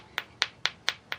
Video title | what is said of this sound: 40 Stone Tools 1 v2 | you tap it over here Ness I mean I can hear the high pitch to it